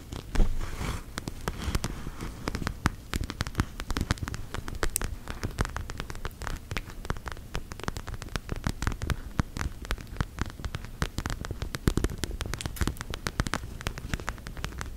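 Long gel nails tap and scratch a plastic eye mask filled with purple gel beads, producing a dense, continuous stream of quick, crackly clicks and scrapes. The short, dry taps have little ring and are heavy in the low end, giving a patter-like texture that stays steady throughout.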